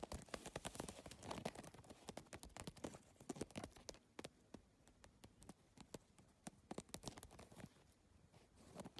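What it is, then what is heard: PVC-tile handbag tapped with nails. Fingertips and nails rapidly tap and scratch the rigid plastic tiles of a holographic geometric PVC-tile handbag. A dense stream of short, sharp, bright clicks follows, each dying away almost instantly, over a soft scratchy rustle. The tapping is busiest in the first half and becomes sparser and quieter toward the end.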